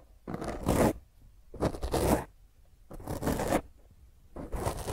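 A black foam microphone windscreen, cupped in both hands, is scratched with long fingernails in four rough bursts separated by short pauses. Each burst is a dense, crackling scrape with a heavy low rumble and a muffled, mid-range rustle.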